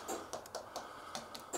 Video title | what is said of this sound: Ballinasloe Town Clock | tap the stones you can hear the hollow sound